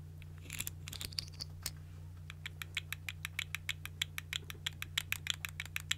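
A small, hollow, multicolored plastic articulated fidget slug toy with segmented body is held in one hand and wiggled and squeezed by fingertips with long nails. Its segments click and rattle in a quick, uneven series of about thirty sharp, bright clicks with a tonal edge near 3.3 kHz. A steady low hum runs underneath.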